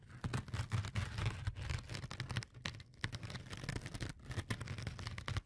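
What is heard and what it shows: A fingertip scratches and presses into the textured surface of a yellow porous foam sponge, making a dense run of soft, quick scratchy crackles over a low, muffled rumble. The scratching comes in short bursts with a brief lull partway through before it picks up again.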